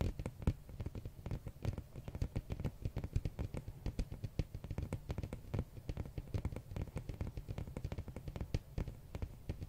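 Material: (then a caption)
Cardboard. A large, flat glossy hardcover art book with a printed red cover is held at an angle and tapped with fingernails across the cover surface. Rapid, irregular clicking taps come in a steady stream, each a short dry tick over a low, hollow thump that dies away almost instantly.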